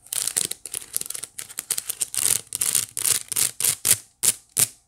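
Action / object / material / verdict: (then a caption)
scrape / small woven wicker basket / wicker / none. Long nails scratch and tap across the flat woven face of a small hollow white wicker basket, making quick, dry, bright scratchy bursts with almost no low end. The strokes come in a rapid, busy cluster at first, then thin out into separated, sharper swipes that stop cleanly with no ring.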